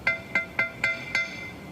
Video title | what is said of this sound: Opening The Final Drives Part 24 Case 310G Dozer Restoration Project | you could actually hear that the cast iron casement here started to loosen up while i was tapping out the last bolt